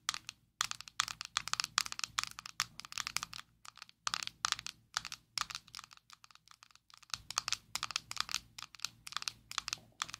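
Long nails tap and scratch a closed, small square black plastic Maybelline Fit Me loose powder jar held in both hands. Quick bursts of sharp, bright plastic clicks and dry scratching follow one another with brief pauses, each tap dying away almost instantly.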